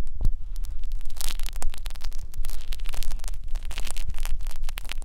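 Two fine metal wires on a blue plastic holder scratch and rub inside the ear canal opening of a white silicone binaural microphone ear. The result is a dense, steady stream of bright, crackly scratching and rustling over a low, constant hum, with no clear pauses.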